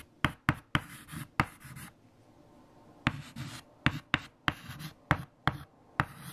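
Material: Chalk.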